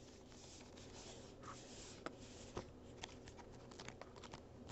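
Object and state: Cardboard box.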